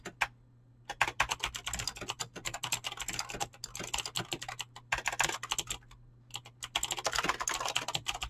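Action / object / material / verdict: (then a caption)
tap / mechanical keyboard with PBT plastic keycaps / plastic / none. Fingertips type fast and continuously on a mechanical keyboard with clicky green switches and PBT plastic keycaps. Dense, bright, crisp clicks and clacks come in rapid bursts, with short pauses near the start and again around six seconds. A faint steady low hum runs underneath.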